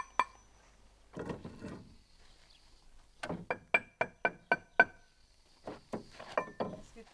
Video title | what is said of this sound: Chantier de restauration de la couverture en laves du transept de l'église de Chiddes - FFPPS | je fais sonner les pierres, un petit peu pour faire connaissance, pour tester de leur qualité. Parce qu'une bonne pierre, elle sonne.